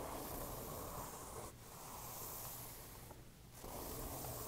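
Long painted nails and fingertips tap and rub across a blank page of a small spiral-bound paper notebook lying flat and open. The result is a soft, continuous papery rubbing and scratching hiss with a low rumble underneath. It briefly quiets twice, around 1.5 seconds and between about 3.1 and 3.6 seconds, before resuming.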